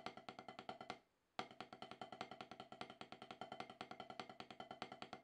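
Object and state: Rubber drum practice pad.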